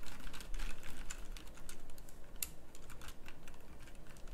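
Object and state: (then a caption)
Mechanical keyboard with round plastic keycaps. A full-size pink mechanical keyboard with round plastic typewriter-style keycaps is typed on with the fingertips in sparse, irregular presses. Each keystroke makes a short, bright click over a steady low hum.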